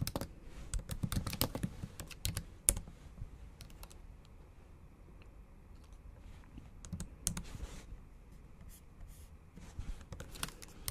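Long acrylic nails tap and click across the black plastic keys of a MacBook Pro set in an aluminum body, typing in bursts of short, sharp clicks with bright edges over a soft low thud. Dense flurries at the start and near the end bracket a quieter stretch of scattered taps in the middle.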